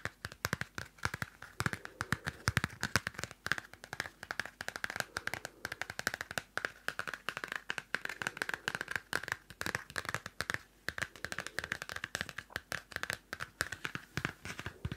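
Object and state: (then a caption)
Pocket paper notebook. Long nails tap rapidly on the pink-blue cardstock cover of a small pocket Field Notes paper notebook. The result is a dense, steady stream of dry, papery clicks with a bright tone centered near 1.5 kHz, each tap dying away almost instantly.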